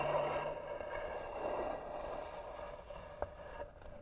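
A single nail slowly scratches the lid of a tan, hollow carved wooden box. The result is a steady, gritty scrape with a hollow, humming resonance, and a sharp tick and a small knock come near the end.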